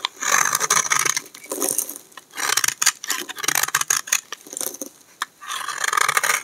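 A hand-sized solid green bar of dry soap is held in the hand and shaved with a utility knife blade in repeated scraping strokes. Bursts of crisp, dry, bright scraping come in uneven runs with short pauses. Curled flakes fall off the bar.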